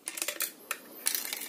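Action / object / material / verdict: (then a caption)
shake / CB radio unit, metal casing / metal / loose. A CB radio taken out of a truck for cleaning is shaken by hand, giving bright, dry rattling clicks with very little ring. The rattle shows something is loose inside the radio, possibly a fuse or small internal parts.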